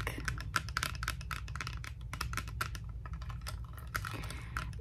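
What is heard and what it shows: Fingertips and nails tap and scratch the frame and dark lenses of small heart-shaped sunglasses, a plastic frame covered in faux pearl beads, held in both hands close by. The result is a quick, uneven patter of crisp, dry clicks with a ticking tone around 1.4 kHz and bright scratchy edges, each dying away almost instantly over a steady low rumble.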